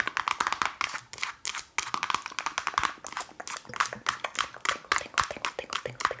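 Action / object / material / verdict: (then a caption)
tap / plastic jar with lid / plastic / none. Long nails tap quickly on the lid and sides of a hand-sized black plastic Lush pot with a lid. The result is a dense run of sharp, bright plastic clicks with a hollow tone near 1 kHz, each dying away almost instantly.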